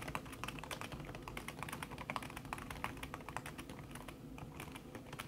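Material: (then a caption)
Plastic, silicone. Fast typing with fingertips and long red-painted nails on a thin backlit aluminium keyboard with plastic keys under a red silicone skin produces a steady stream of soft, muffled tapping clicks. Each tap is short and damped, with a low thudding body and brighter clicky edges.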